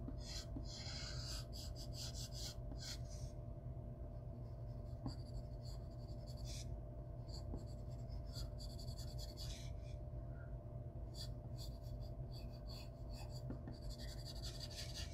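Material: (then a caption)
Graphite, paper. A yellow-and-black graphite pencil, held at the fingertips, is dragged in shading strokes across a single large sheet of white drawing paper lying flat on a wooden table. Bursts of bright, dry scratching rise and fall with each stroke over a steady low hum and a faint constant tone.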